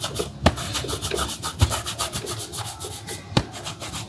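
A cloth is pulled back and forth around the leather upper of a black leather Dr. Martens boot, worn on a foot resting on a shoeshine stand, buffing it. A steady, bright swishing rub is heard, broken by a few sharper low thumps.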